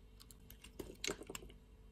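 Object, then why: Bar of soap. A utility-knife blade shaves thin layers off a flat slab of light-blue soap. The result is a quiet run of short, crisp scraping ticks with a bright, dry edge that die away almost instantly.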